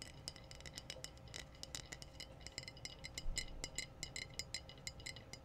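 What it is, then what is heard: Glass bottle tapped with fingernails. Long blue-painted nails tap quickly on the glass body of a medium-size, clear glass wine bottle with a metallic pink/red screw cap, which looks hollow and empty and is held in both hands. Each tap is a short, bright clink that dies away almost instantly, forming a steady irregular patter over a faint low hum.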